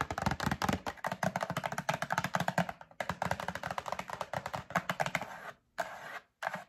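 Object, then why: Printed cardboard box. Long acrylic nails tap rapidly on a closed, medium-size printed cardboard Breakfast Essentials drink-mix box, apparently full of packets and held in a hand. Dozens of short, dry, hollow clicks with a soft low thump come in quick bursts and stop almost instantly. Brief pauses near three seconds and toward the end separate the bursts, and the final stretch turns into softer, scratchier strokes.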